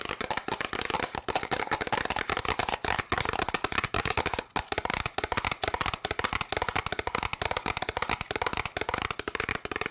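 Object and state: Cardboard candy box.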